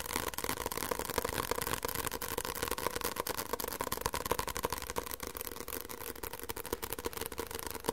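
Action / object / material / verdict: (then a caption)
tap / paperback book cover / paper / none. Fingertips rapidly tap the back cover of a solid white paperback book held in the hands. The tapping is quick, dry and somewhat uneven, with short papery knocks over a steady mid-pitched hum.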